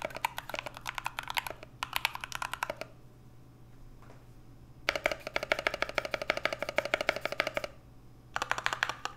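Fingertips type on an NK65 65% mechanical keyboard with an aluminum case, PBT Notion keycaps and Everglide Aqua King switches, first with two hands and, by the end, with only one. Bursts of rapid, short, bright clacks centered in the mid range are separated by quiet pauses. Each keystroke dies away almost immediately.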